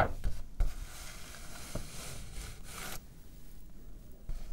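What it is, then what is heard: Paper sheet. A single white A4 sheet of paper, folded in half, thin and flat, is held up in both hands with long pink-and-black manicured nails and rubbed and handled between the fingers. It gives soft rustling and crinkling with a couple of sharper crackles near the start, then a broad hiss that quiets abruptly around three seconds in.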